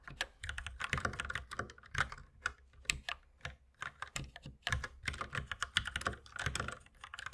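Fast two-handed fingertip typing on a compact white mechanical keyboard with plastic keycaps, resting on a wooden desk beside an unused mouse. A steady, uneven stream of quick, dry clacks with a bright, crisp top and a soft low thump under each keystroke, each dying away almost instantly.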